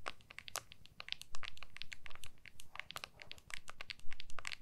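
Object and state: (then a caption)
Phone in a hard plastic case. Long nails tap and scratch the back of an iPhone in a clear hard plastic case held with both hands. The result is a rapid, irregular stream of sharp, bright clicks and short scratchy rasps, each dying away almost instantly, over a faint low hum.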